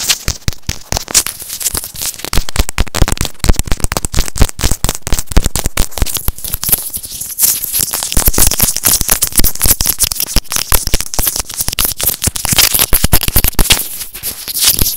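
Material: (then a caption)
Plastic. A white plastic inline microphone on an earphone cable, held in both hands, is rapidly tapped and scratched with fingernails. A dense, continuous stream of sharp crackling clicks and scratchy bursts follows, with deep thumpy low end under bright, hissy crackle. The taps run together like popping firecrackers for the whole clip.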